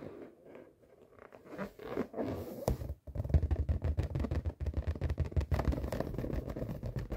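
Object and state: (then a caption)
Inflated latex balloon. Fingertips and short nails tap and rub the surface of a large, inflated yellow latex balloon, hollow and air-filled, held against the lap. It starts with soft, scratchy rubbing, then after a brief silence becomes a quick, uneven stream of dull, low, booming taps mixed with squeaky scraping.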